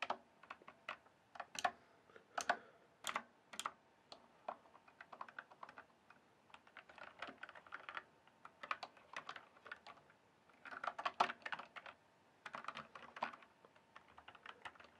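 Fingertips type and tap on the keys of a full-size RGB backlit plastic mechanical keyboard with a hollow case. Quiet, sharp clacks come in irregular bursts separated by short pauses, with a hollow midrange tone and a little brightness. Each click dies out almost instantly, with no low rumble.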